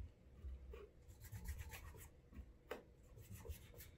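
Fingertips rub wax into the leather upper of a brown leather Alden straight tip blucher shoe, held up hollow in one hand, to create a wax burnish. The result is a quiet, low, muffled rubbing with repeated soft strokes and brief brighter scratchy swipes.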